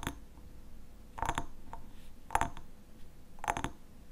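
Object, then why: Glass honey bottle with lid. A glass honey bottle with a black lid is tapped, with quick double taps in short bursts spread across the clip. Each tap gives a brief, bright glassy clink around 840 Hz that dies away almost at once, over a low, quiet background.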